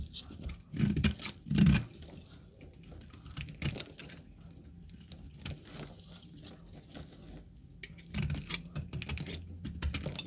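A rectangular, solid brown household laundry soap bar, held in a black-gloved hand, has thin dry slices cut and scraped off it with a metal utility knife blade. Two louder, thick crunching bursts come early. They are followed by a long run of soft, crisp scraping and crumbling patter that swells again toward the end.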